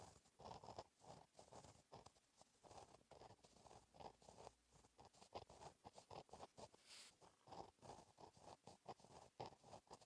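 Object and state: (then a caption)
Pen writing on a notebook page. A gel pen tip scratches across a flat, black lined notebook page while writing cursive. The result is quiet, rapid scratchy strokes with a brief papery rasp centred in the midrange and faint high hiss. Each stroke fades almost at once.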